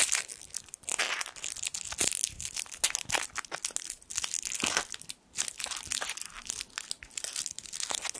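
A small gold foil sweet wrapper is crinkled between the fingertips of both hands. It makes a steady, dense stream of sharp, bright crackles and crisp rustles with almost no low end, broken by a brief lull just past the five-second mark.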